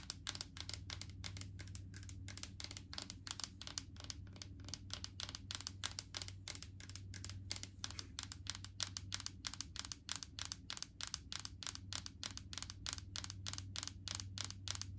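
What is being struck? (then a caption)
Plastic jar filled with solid coconut oil. Long painted fingernails tap and lightly scratch a large, full clear plastic jar of solid white coconut oil with a green plastic screw lid. A quick, steady stream of short, bright plastic clicks with light scratching runs over a constant low hum. The clip is quiet throughout.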